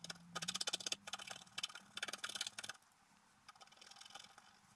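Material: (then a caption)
Coated paper. A wooden stylus scratches near the bottom edge of a flat, coated scratch-art paper sheet lying on a table, while the other hand steadies the sheet. Bursts of bright, dry scratching strokes fill the first few seconds. The scratching then drops to quieter, lighter strokes, with a faint low hum underneath throughout.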